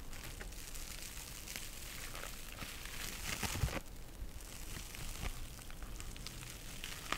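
A small soft pink scouring sponge with a synthetic mesh cover is scratched by long nails and squeezed by fingers. The result is a soft, steady crinkly rustle with scattered brief crackling scratches that rise a little in the middle.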